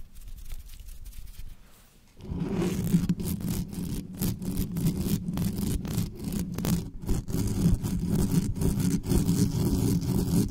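Long nails rapidly scratch and tap the hollow metal mesh grille of a large black condenser microphone on a stand, with no foam cover. After about two quiet seconds, a dense, irregular stream of scraping and tapping begins and stays loud to the end. The sound is boomy and heavy in the low end with little high detail.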